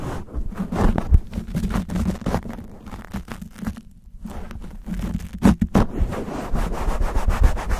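Fingertips and nails scratch and rub fast and roughly on a black foam windscreen fitted to a silver condenser microphone. The result is a dense, irregular stream of muffled, low-heavy scratching and rumbling bursts, with a brief quieter lull near the middle before the rubbing picks up again.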